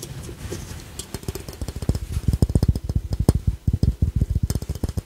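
Fingertips and short nails tap a small, hollow, glossy glazed ceramic ladybug piggy bank, first on its red shell and then on its yellow face. After a soft, muffled start, quick, uneven taps follow, each a short, dull, low knock that dies away almost at once.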